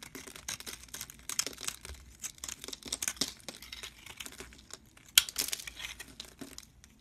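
A metal blade shaves thin flakes off a solid cream soap bar, producing a rapid series of crisp, dry scraping and crinkling strokes. The sound is bright and papery, with almost no low end, and one sharper, louder stroke stands out partway through.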